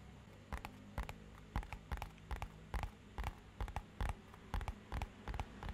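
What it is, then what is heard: Cardboard box tapped. Fingernails tap on a small, rigid, matte-black hollow cardboard box held upright. The taps come in quick, irregular pairs and clusters: soft, hollow, low knocks with a faint clicky edge that die away almost instantly over a steady low background hum.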